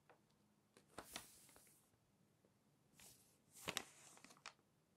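A thin coated page of an open glossy paper magazine lying on a table is lifted and flipped, then pressed flat with fingertips. Quiet, bright, crisp rustles and crinkles come in two main bursts with a few short ticks between them, over a near-silent background.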